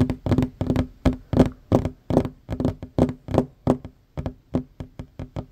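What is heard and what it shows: Fingertips and short fingernails of both hands tap fast on a worn, large, solid wooden tabletop. A quick, uneven run of dull, woody knocks with a low tonal thump, each dying away almost at once.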